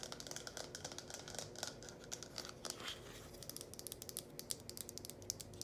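Long painted nails tap and scratch the cone and spout of a small red hollow plastic funnel held in both hands. Rapid, quiet, bright clicks and scratchy taps follow one another closely, each dying away almost instantly over a faint steady hum.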